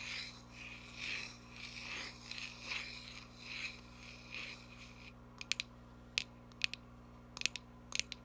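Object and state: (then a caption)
Cardboard box. Nail tips rub slow, swelling strokes across the printed front face of a small cardboard box, making a soft, bright, papery hiss. This gives way to short, sharp scratches that click apart against near silence. The whole sound is quiet and high-pitched, with almost no low end.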